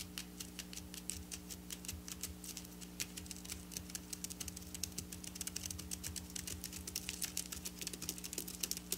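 Long black nails tap and scratch fast across silver sequin fabric, making a dense stream of quick, bright, clicky ticks with almost no ring. A steady low hum runs underneath throughout.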